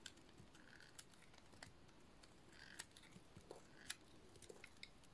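A metal utility-knife blade shaves a solid, dry white soap bar. The result is quiet, dry scraping and crisp crackling, with a series of sharp, bright little clicks and crunches that stop almost instantly.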